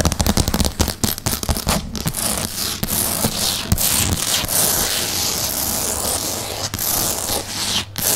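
Long painted nails of both hands tap and scratch a solid light-grey wood-grain laminate tabletop right next to the microphone. The first half is a rapid run of sharp, clicky taps with a low thump beneath, and it then gives way to a steady, bright, hissing scratch across the surface.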